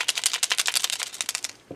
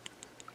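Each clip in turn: First: paint jar with mixing ball rattling freely (paint mixed). Second: paint jar with thick, unmixed paint; mixing ball barely rattles.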